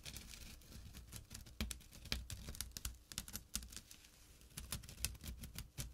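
Fingertips and short nails rapidly scratch the coarse weave of a small, empty jute or burlap drawstring pouch lying flat on dark cloth. The result is a quiet, dense run of dry, crisp scratching ticks with bright edges and very short decays, sitting over a soft low-end rumble.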